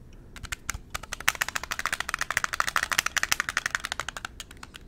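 A silver, chrome-coated glass perfume bottle lies on its side and is tapped with fingertips and nails along its body and cap. The result is a rapid, steady stream of short, dry clicks with bright ticking tones centered around 1.8 kHz. The clicks build in density and loudness through the middle of the clip, then thin out toward the end.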